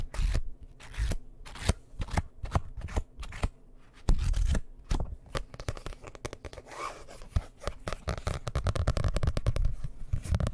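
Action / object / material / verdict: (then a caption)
tap / hardcover book with cardboard cover / cardboard / none. A solid dark blue hardcover book, held close to the microphone, is tapped and scratched quickly on its cover and edges with nails and fingertips. Dense, fast clicks and scratchy strokes sit over a heavy, low thump, with sharp, dry taps and occasional louder bursts throughout.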